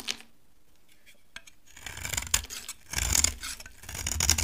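A utility knife shaves a solid, dry orange bar of soap into dry, crumbly chips. After a brief scrape and a quiet pause, bright, crisp scraping strokes come in irregular bursts that grow louder and denser toward the end.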